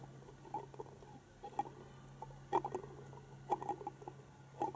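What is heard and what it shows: Long painted fingernails tap a hand-sized hollow plastic penguin egg toy, lit from inside and standing on a carpet. The result is quiet, short, dry clicks with a hollow mid-range tone, coming in irregular clusters over a faint steady low hum.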